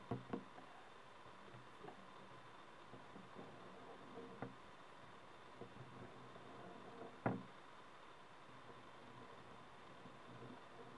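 Fingertips and nails tap and scratch around the stem of a small, hollow, glowing mushroom-shaped LED night light made of frosted translucent plastic. Soft, dull knocks stand apart from a quiet, steady hiss, with light scratching between them and the sharpest tap near the end.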